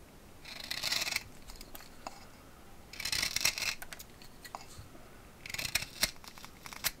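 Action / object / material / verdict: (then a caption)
scrape / fresh green tree branch with bark, scraped by a steel knife / green wood / none. A steel carving knife whittles a fresh, thumb-thick green tree branch with bark, held in hand over a wooden workbench, scraping off bark and wood in short strokes. Three bursts of bright, hissy scraping are heard, separated by quieter moments with sharp, crisp clicks as the blade catches and releases.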